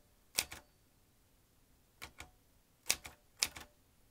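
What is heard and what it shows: Fingertips press the round keys of a vintage metal manual typewriter, swinging its typebars in eight sharp, bright clacks. They fall in four quick pairs, each a louder strike followed by a softer one, with irregular pauses between. Each click dies away almost instantly.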